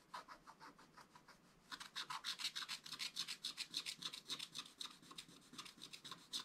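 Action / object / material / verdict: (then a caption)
scrape / wax-coated scratch-art paper scratched with a wooden stylus / coated paper / none. A wooden stylus scratches fur lines into a flat, black, wax-coated scratch-art paper page, making rapid, dry, high-pitched scratching strokes at a quick, uneven pace. The strokes are soft and sparse for the first couple of seconds, then grow louder, brighter and denser, each stroke cutting off almost at once.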